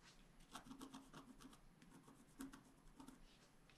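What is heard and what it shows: A wooden stylus scratches continuously across a small area of a flat black scratch art paper sheet. The result is a quiet, dry rasping with brief bright strokes repeating over a low, steady scraping tone.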